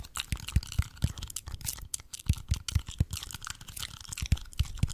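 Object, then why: Expanded polypropylene foam roller. Fingertips and nails scratch and tap the textured bead-foam surface of a large, cylindrical, red-and-white speckled expanded polypropylene (EPP) foam massage roller, held horizontally in both hands in front of the microphone. Rapid, irregular dull taps thud low with almost no ring, over a dry, bright scratching rustle.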